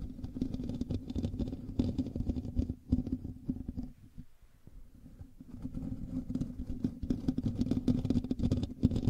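Fingertips and nails of both hands scratch the hollow metal mesh grille of a black USB microphone, making a dense, rapid scratching and rustling with a heavy low rumble. The scratching eases to a near stop around the middle, then builds back up to a busy, steady texture until the end.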